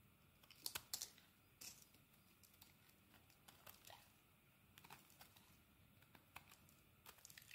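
A metal blade shaves curls off a solid purple bar of soap, making quiet, dry, crisp scraping and crackling strokes that are mostly high and bright. The strokes come irregularly, with a few louder crunchy bursts near the start and softer short scrapes after that.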